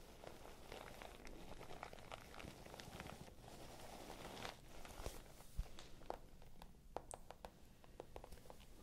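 Long nails scratch and tap along the sides and edges of a small, hollow, pale pink patent leather clutch bag. Soft, steady scratching runs throughout, broken by short, sharp clicking taps, some bright and crisp, over a quiet, low background hum.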